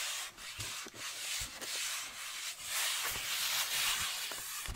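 Fingertips and nails rub and scratch across the flat lid of a hollow cardboard Nike shoe box held up by hand. The result is a steady, bright, hissy scratching with soft low bumps underneath.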